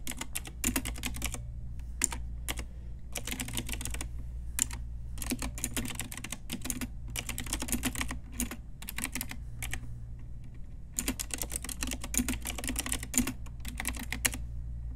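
Long nails and fingertips type on a pink Ajazz retro typewriter-style mechanical keyboard with round plastic keycaps. Bursts of sharp, bright plastic clicks and clacks come in quick runs separated by short pauses, over a steady low hum.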